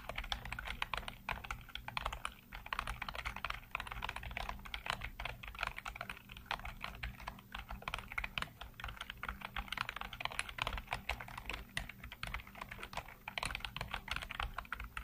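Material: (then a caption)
Plastic. Fingertips type rapidly across a full-size black plastic keyboard with hollow keycaps, giving a dense stream of quick, bright clicks and taps. Each keystroke dies away almost at once, over a steady low hum.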